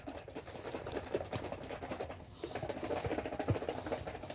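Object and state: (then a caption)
Cream in a shaken jar, thickened toward whipped cream. A plastic jar of cream that has thickened into whipped cream is shaken hard and fast, giving a dense run of soft, muffled thuds and patters instead of a liquid slosh. The shaking pauses briefly midway, then resumes. The changed sound shows the cream has thickened toward whipped cream.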